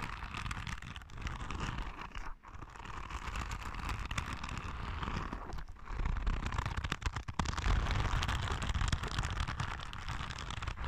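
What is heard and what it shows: A palm-sized yellow soft rubber spiky sensory ball is scratched with long red nails, giving a dense, steady crackling scratch with a heavy low rumble underneath. The texture runs almost continuously, dipping briefly around 2.4 and 5.7 seconds, and grows slightly louder in the second half.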